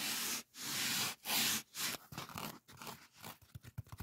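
A solid white polyethylene packing foam sheet is scratched and rubbed with fingertips and nails, producing a crunchy, bright friction hiss. The first two seconds hold several long, sustained rubbing strokes, and the rest breaks into shorter, choppier scratches and squeaky crunches.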